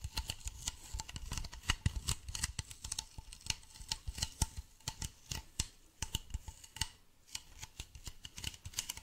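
A medium white hollow plastic bottle is tilted in the hands and tapped and scratched with fingernails on its side and base. Quick, irregular clicky taps with bright, crisp tops and a soft low body die out almost instantly, with faint scratchy rustling between them.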